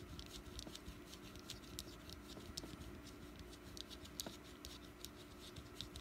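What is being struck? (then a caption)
Small wax pumpkin candle. Long nails on both hands tap and scratch the top of a small, solid orange jack-o-lantern wax candle resting on a mat. Soft, bright clicks and ticks stand out over a steady, quiet scratching rustle. Each tap is brief and dies away almost at once.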